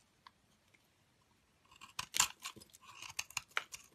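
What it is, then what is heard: Soap bar being scraped. A metal blade scrapes crumbly shavings and powder off the edge of a cream solid soap bar with a glitter edge, held in a hand with dark long nails. After a near-silent start with a faint tick, dry, crisp, bright scraping and crunching bursts begin and repeat in quick strokes, the loudest early on.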